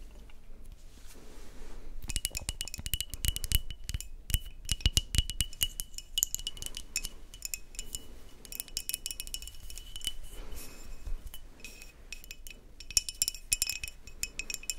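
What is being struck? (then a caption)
Glass beer bottle with paper label. A brown glass Kronsberg beer bottle with a paper label, of unclear fill, is tilted and handled in both hands while long nails tap and scratch across the glass and the label. Rapid, bright clicking taps with a faint high ring alternate with dry scratching over low handling rumble, with a few brief quieter pauses.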